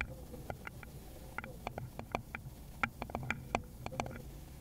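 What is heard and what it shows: A small, rounded, likely hollow wooden bowl is tapped with long pointed nails on a gloved hand, giving about seventeen quick, dry clicks at an uneven pace. Each tap is short with almost no ring, carrying a hollow woody tone around 700 Hz and bright clicky edges over a low background rumble.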